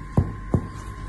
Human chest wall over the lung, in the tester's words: this is a clear sound